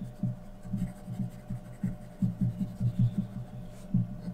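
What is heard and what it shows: A graphite pencil held in the fingers is scratched across a thin sheet of white drawing paper on a flat surface, shading a portrait. Soft, irregular strokes come through as low, muffled thumps over a steady faint hum, with little high-end scratch.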